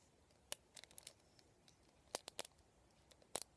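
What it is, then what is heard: Plastic round vent hairbrush. Fingertips and nails scratch and flick the plastic pin bristles and hollow vented barrel of a black plastic round vent hairbrush. Quiet, sharp, bright clicks and short scratchy ticks come in irregular clusters with near silence between them, each snapping off almost instantly.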